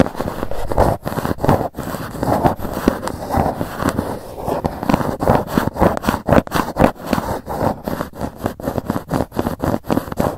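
Long nails tap and scratch the lid of a grey GUCCI cardboard gift box. The result is a steady run of rapid, closely spaced dry taps and scratchy rustles, dull and papery with little high-end brightness and almost no ring after each stroke.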